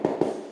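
Two taps on a cracked ceramic floor tile give hollow, ringing knocks with a pitch around 355 Hz that trail off over about half a second. The tile is hollow underneath across the whole area, so something dropped on it would easily break it.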